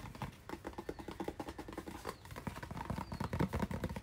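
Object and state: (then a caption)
Cardboard package tapped with fingernails. A hand-sized, hollow white and blue cardboard retail package with a hang tab is tapped rapidly with fingernails. The result is a quick, irregular stream of short, dry clicks and soft knocks with a low hollow thump beneath. The taps quicken and grow slightly louder toward the end.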